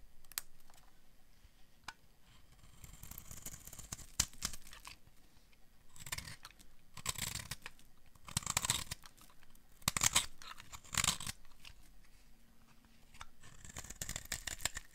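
A metal blade scrapes and carves the surface of a solid, hand-sized, olive-green bar of dry soap. Bright, crisp scraping and crunching bursts come in repeated strokes, some longer and louder, with quiet gaps between them.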